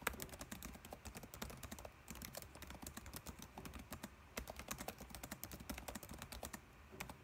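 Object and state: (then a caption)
Plastic laptop keyboard being typed on. Fingertips type rapidly on a dark laptop keyboard with plastic keys, producing a dense stream of short, bright clicks and soft tapping thuds. The typing runs steadily throughout, easing slightly around the two-second mark and again toward the end.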